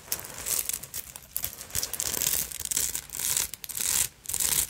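Long nails scratch all over the beaded fabric surface of a small black beaded and sequined purse held in the hands. The result is a dense, bright, crinkly rasping in uneven bursts, with short pauses near the middle and near the end.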